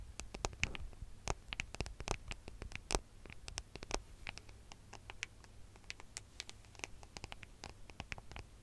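Fingernails tap and scratch the back of a gold smartphone with a metal and glass body, held horizontally and then tilted beside the microphone. Many quick, dry, bright clicks come in irregular bursts with soft scratching between them, over a steady low hum.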